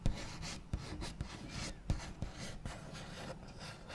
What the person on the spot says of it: [ASMR] Scratchy Tapping and Tracing on a Wooden Table with Backs of Nails (NO TALKING)